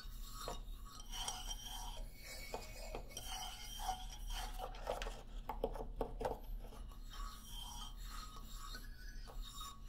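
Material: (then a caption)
Hardwood. Fingernails scratch along the solid hardwood bars of a wooden xylophone lying flat. The result is a soft, raspy scraping with faint, brief woody tones ringing out from the bars, over a steady low hum.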